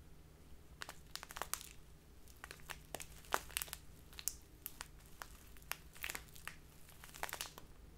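A small crinkly plastic bag full of loose tea is crinkled by fingertips and long nails. Quiet, sharp, bright crackles come in quick irregular bursts over a steady low hum, each crinkle cutting off almost at once.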